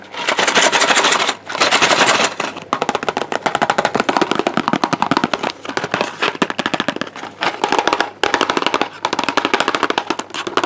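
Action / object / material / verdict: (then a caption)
tap / small cardboard medicine box / cardboard / none. Fingertips tap rapidly on a small, hollow, white and teal cardboard ibuprofen box held in the hand. Quick, dry, papery clicks come in dense rolls and bursts, separated by brief pauses. The sound is bright and crisp, with almost no low end.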